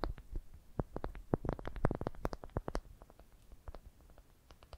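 Long dark painted nails tap and scratch around a smooth, light-colored, palm-sized solid wooden ball cupped in the hands. The result is a quick, irregular series of dry, short clicks and taps with almost no ring, mixed with faint scratching, loudest in the middle and softening toward the end.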